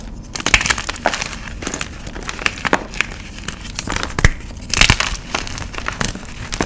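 Solid white pieces of a magnesium carbonate gym chalk block are squeezed and crushed by fingers and both hands over a pile of chalk powder. Dense, dry crunches and crackles crumble in quick bursts, bright and gritty with short snaps that stop almost instantly. The chalk breaks down steadily under the pressure, with louder crushing bursts near the middle and the end.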